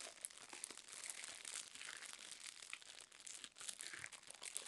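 Long nails tap and scratch the crinkly plastic wrapper of a roll of garbage bags, about 25 cm, held in both hands. A quiet, steady stream of bright crinkles and scratchy ticks runs throughout with no low end, and brief sharper clicks stand out now and then.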